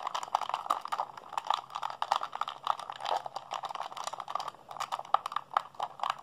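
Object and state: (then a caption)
Plastic game controller buttons. A hollow blue plastic PlayStation 3 handheld controller is held in both hands while fingertips and thumbs rapidly mash its buttons. A dense, uneven stream of dry plastic clicks and taps fills the clip, centered in the midrange with no low end and almost no ring after each press.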